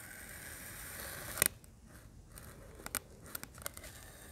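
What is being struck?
Compacted kinetic sand discs.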